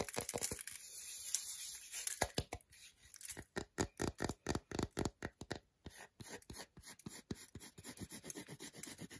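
Fingers and nails rub and scratch the flat back of a solid milk chocolate bar. A dense, bright scratching runs for the first two seconds, then breaks into a fast, uneven series of short, dry scrapes and taps with no ring after each stroke.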